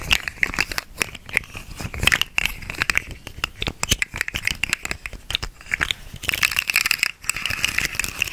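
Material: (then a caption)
Plastic. A small hollow segmented plastic slug fidget toy, orange and green, is held in both hands while its segments are bent and twisted and scratched with long nails. It makes a dense, continuous stream of bright, sharp clicks and rattling crinkles centered around 2.5 kHz. The clatter runs steadily throughout, with only a brief pause just after seven seconds.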